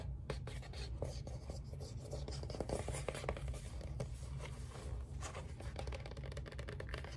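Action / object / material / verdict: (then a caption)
scrape / cardboard album sleeve / cardboard / none. A large, flat cardboard LP album sleeve for ABBA's Waterloo is held upright and turned from front to back while fingertips and nails scratch and tap its glossy printed cardboard. Quick dry scratches and light, sharp taps flicker over a steady low hum that fills the bottom of the sound.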